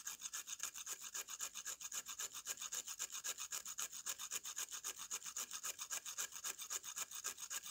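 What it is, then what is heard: Dry mud slab scraped with a knife. A metal kitchen knife blade scrapes rapidly back and forth across the powdery face of a flat, solid slab of dry, light-brown mud or clay held upright in one hand. About fifty quick, evenly spaced strokes make a steady, dry, bright rasping with almost no low end and no ring.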